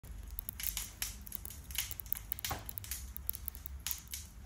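A hand-sized dark red and black glass perfume bottle with an ornate gold metal floral decoration and cap is held in one hand and tapped quickly with the long fingernails of the other. The result is a rapid, irregular stream of sharp, bright clicks and ticks with no ring after each tap, over a low background rumble.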